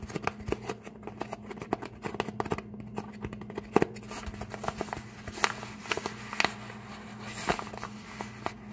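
Fingertips and short nails scratch and tap the folded edge of an empty brown kraft paper bag held up close. Dry, crinkly scratching runs throughout, broken by many sharp, bright clicks and taps, with a steady low hum underneath.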